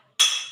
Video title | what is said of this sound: Didin Sulalatin kelompok 4 Micro Teaching, kelas 4 Tema 1 Subtema 1 Pembelajaran 1 | memukul antara sendok dengan piring yang nantinya akan menghasilkan bunyi